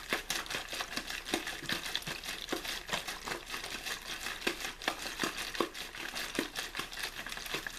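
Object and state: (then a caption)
Empty plastic water bottle being crinkled. An empty, hollow, clear plastic water bottle with a blue label is squeezed and crinkled by the fingertips of one hand. The result is a steady stream of sharp, bright crackles and snaps at an irregular, fairly quick pace, each dying away almost at once, with very little low end.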